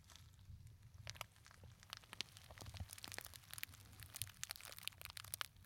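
A small, hollow gold glittery textured fabric clutch purse with a metal kiss-lock clasp is crushed and scratched with fingertips and short nails. The result is a quiet, continuous stream of dry crinkling and crackling with sharp, bright ticks scattered over a faint low rumble.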